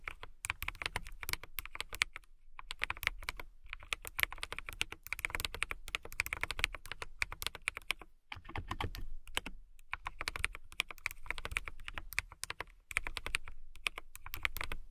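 Fast, continuous typing with fingertips and long nails on a transparent mechanical keyboard with clear plastic keycaps and RGB lighting. The taps are crisp, bright clicks with almost no ring and a light low thud beneath, broken by a few brief pauses.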